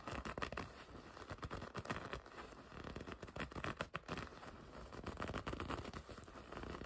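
Long red nails scratch and grip the black leather panel on the front of a black and red leather racing jacket. Dense, quiet, crinkly scratching and rubbing goes on throughout, with frequent short taps and no clear pauses.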